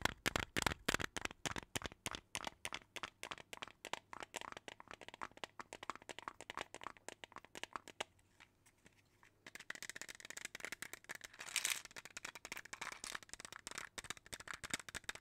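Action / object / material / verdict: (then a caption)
tap / small plastic jar filled with beads / plastic / none. A small clear plastic jar filled with colorful beads is tapped with fingernails and shaken close to the mic. Quick, uneven clicky taps with a crisp, bright crinkle run for about eight seconds, then stop briefly. They return as a denser, brighter rattle of beads shifting inside the jar.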